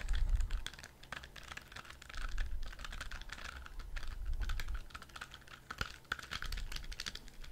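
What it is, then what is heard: Spiky rubber squishy ball. A hand-sized, orange soft rubber spiky squishy ball with a loop on top is tapped and scratched with fingertips and nails close to the mic. Dense, irregular clicky taps and bright scratchy crackles ride over a low, muffled thump, in uneven bursts throughout.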